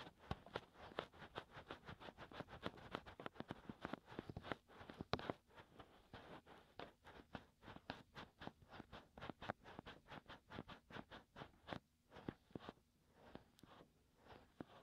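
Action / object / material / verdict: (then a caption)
scrape / silicone ear-shaped microphone cover / silicone / none. Fingertips of both hands scratch and rub the hollow ear canals of two soft white silicone ear-shaped pieces on a 3Dio binaural microphone. The result is a quiet, fast series of short, dry scratching taps, with a mid-range rustle between them. The strokes continue steadily and thin out slightly toward the end.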